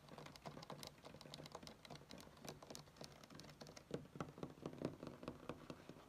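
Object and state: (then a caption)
Wooden tabletop. Both hands rapidly tap and scratch short fingernails across a flat, solid wood-grain tabletop. The result is a dense patter of quick, dry knocks with a low-mid body and bright scratchy clicks, with little ring after each hit. The tapping grows somewhat louder and firmer toward the end.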